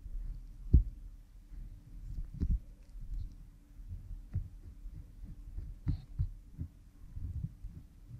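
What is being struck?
Silicone ear model microphone rubbed with a cotton swab.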